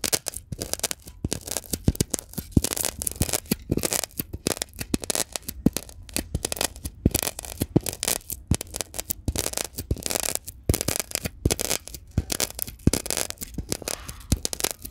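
A mini microphone with a metal mesh head, held in the fingertips, is pressed, tapped and scratched across the top of a brick-sized block of green glittery floral foam on a store shelf. Dense, rapid, dry scratching and crackling bursts run throughout, mixed with soft low thumps from the taps. The bursts vary from fast to slower strokes, with brief quiet gaps between them.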